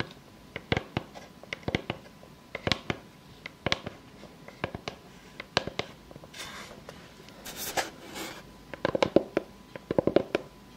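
Long fake nails tap and scratch across a solid, plate-sized round slice of natural wood with its bark edge still on. Sharp, dry clicks sound at an uneven pace, with a few softer scratching passes near the middle. The clip ends with quick clusters of rapid taps.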